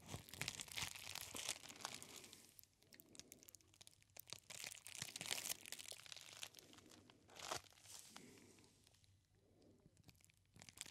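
A clear plastic bubble wrap roll is held close to the ear and squeezed and scratched with the fingertips. It gives dense, bright crinkling and crunching with quieter lulls in between.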